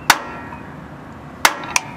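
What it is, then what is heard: Fully seated axle seal. A rear axle seal is driven into a metal axle housing on an F100 with a seal driver. Three sharp, bright metallic strikes ring only briefly. The solid sound shows the seal is fully seated and bottomed out.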